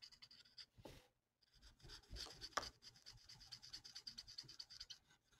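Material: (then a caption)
Paper. A felt-tip marker colors a thin, flat paper mandala coloring sheet with quick rubbing, writing-like strokes. The scratchy sound is soft and bright, pausing briefly near the one-second mark before the strokes resume at a steady pace.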